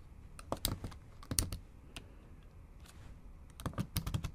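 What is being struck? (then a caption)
Laptop keyboard with plastic keys. Long acrylic nails tap on the black plastic keys of a MacBook Pro set in an aluminum body, producing quick, light clicks with a soft low thump under each press. The taps come in short clustered bursts separated by a quieter pause, each click dying away almost at once.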